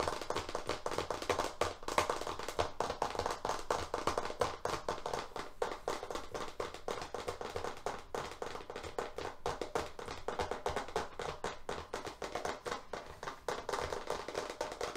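A large FrogTape painter's tape roll, still in its shrink-wrap and label, with paper tape wound on a hollow cardboard core, is held upright in both hands and fast-tapped with long fingernails on its flat face. The result is a dense, continuous stream of quick, dry taps with a hollow mid-range tone around 1 kHz. Each tap dies away almost instantly.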